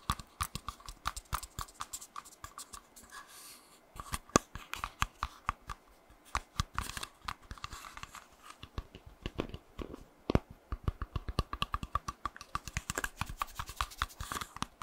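A small, solid golden baked cookie is held close to the mic and tapped and scratched with fingernails. Many quick, dry clicks and taps come in fast, uneven bursts over a soft scratching hiss, each hit dying away almost at once.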